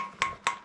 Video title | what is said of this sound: RACCOON MOUNTAIN CRYSTAL PALACE WALKING TOUR - CHATTANOOGA, TN | did you hear it sounds Hollow